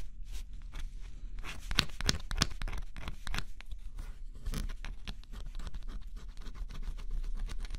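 A small stylus scratches the black coating off a flat, thin cardboard scratch-off jigsaw puzzle. Dense, dry scraping strokes come in quick overlapping bursts with bright, crackly edges over a steady low rumble, and each short stroke dies away almost at once.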